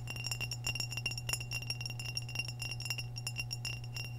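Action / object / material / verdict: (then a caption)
tap / glazed ceramic vase / glazed ceramic / none. Long nails tap a hollow, empty, medium-sized orange glazed ceramic vase with a narrow white neck in a quick, steady series of light clinks. Each tap gives a short, bright ring over a constant low hum.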